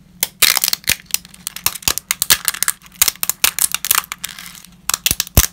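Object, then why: Dry lasagna pasta sheets. Whole, uncooked, ridged lasagna sheets are held in gloved hands and snapped into pieces over a pile of broken fragments. A rapid series of sharp, dry, bright cracks and crunches is heard, each cutting off almost instantly, with small rustles and clicks from the fragments between the snaps.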